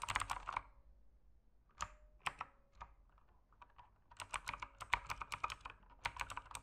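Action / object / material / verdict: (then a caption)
tap / mechanical keyboard with plastic keycaps / plastic / none. Fingertips type on an RGB mechanical keyboard with plastic keycaps. A quick flurry of bright, clacky keystrokes is followed by a quieter stretch with a few scattered taps, then another fast run of typing. Each click is short and dry, centered in the midrange with crisp high edges.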